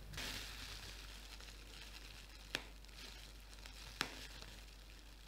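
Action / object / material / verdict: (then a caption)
scrape / plastic bubble wrap sheet / plastic / none. A clear plastic bubble wrap sheet, held low in both hands, is squeezed and popped with fingertips and nails. A steady, bright crinkling hiss runs throughout, broken by three sharp, short pops.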